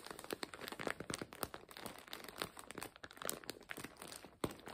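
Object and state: Plastic zip bag crinkled.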